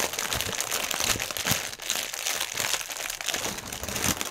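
Hands scrunch and twist a section of clear plastic air-pillow strip, plastic air cushion packaging film, on a white table. The result is a dense, continuous bright crinkling and crackling with little low end, swelling and easing in steady waves.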